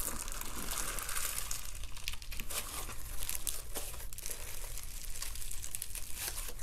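Fingers stretch, fold and squeeze a handful of peach slime packed with small foam beads (floam) over a white background. A steady stream of dense, bright crackling and crunching comes as the beads pop and grind against each other, over a low, muffled handling rumble.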